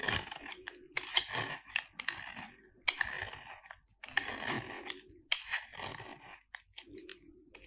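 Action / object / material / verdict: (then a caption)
scrape / soap bar cut with a blade / soap / none. A metal utility-knife blade cuts and shaves a small, solid piece of dry white soap bar with a little blue paint left on it. Bright, crumbly crunches and scraping bursts come in quick strokes with short pauses between them, and the soap breaks away into crunchy flakes.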